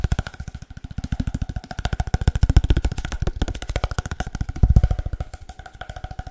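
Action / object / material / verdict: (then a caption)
tap / cardboard paper towel tube / cardboard / none. A long, hollow, empty cardboard paper towel tube is tapped fast with the fingertips, giving about 56 quick, dull, low thumps with a deep hollow resonance and almost no ring. The rapid, uneven patter swells louder around the middle and again near the end.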